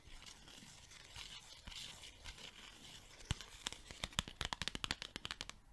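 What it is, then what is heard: Paper sticky note pad. A small yellow pad of paper sticky notes is held in hand while long nails peel, flick and rub its sheets. Soft, bright papery rustling and scratching give way after about three seconds to a quick run of sharp, crisp flicks that stop dead with no ring.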